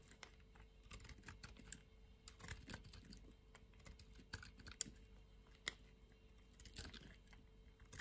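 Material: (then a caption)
Soap. A utility knife blade shaves the edge of a thin remaining strip of a solid white soap bar held between the fingers. Quiet, crisp, bright scraping ticks and small clicks come in quick irregular bursts, each dying out at once, over a low rumble and a faint steady hum.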